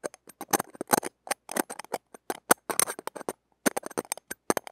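Stainless steel tweezers tap and scrape the small hollow steel-mesh ball grille of a mini microphone. About two dozen quick, dry clicks and scratchy crackles come in irregular bursts, with a brief pause before the end. The sound is close and bright, with almost no low end and no ring after each hit.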